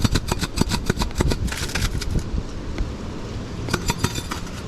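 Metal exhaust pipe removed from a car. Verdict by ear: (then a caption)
Loose. Metal exhaust pipes removed from a car are shaken by hand, and something loose inside them rattles in a rapid series of sharp, bright clicks and clanks over a low rumble. The rattle thins out partway through, then returns in a few more quick bursts. The loose part is found to need securing with super glue, duct tape, Gorilla Glue and Gorilla Tape so it will stop rattling.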